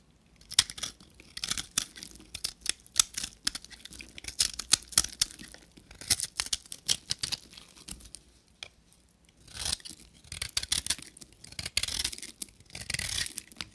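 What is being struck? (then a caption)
Bar of soap scraped with a knife blade. A hand-held, solid amber-yellow bar of dry soap is shaved with a short metal knife blade in scraping strokes, and flakes and powder fall off. Each stroke makes a dry, bright, crackly rasp in quick bursts, with a brief quiet pause just before the scraping resumes.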